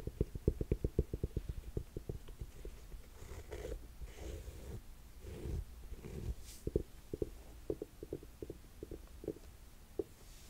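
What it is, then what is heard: Suede ankle boot. Long nails tap and scratch the suede straps and upper of a black suede buckle ankle boot with a zip, held close. A quick run of soft, muffled, low taps opens the clip, gives way to duller brushing scratches in the middle, then returns to spaced, dead taps with almost no ring.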